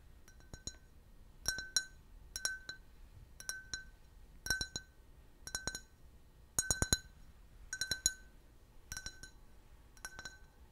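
A clear, hollow, empty can-shaped beer glass with a printed logo is held and tapped with fingernails and fingertips. About ten quick clusters of two or three bright, clinking taps come roughly once a second, each with a high glassy ping. The ping dies away almost immediately over a faint, quiet background.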